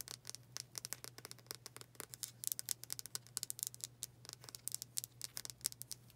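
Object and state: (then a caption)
Wooden hair brush. A palm-sized, dark brown oval wooden hair brush with black bristles and a solid wood back is tapped and scratched quickly with long dark acrylic nails. The result is a rapid, uneven stream of quiet, dry, bright clicks and scratchy taps that stop at once, over a faint steady low hum.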